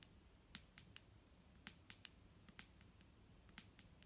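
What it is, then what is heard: Plastic bottle of liquid. A clear plastic micellar water bottle filled with liquid is tapped with fingertips and nails. About a dozen sharp, bright clicks sound at irregular intervals, each dying away almost instantly, over a faint low background hiss.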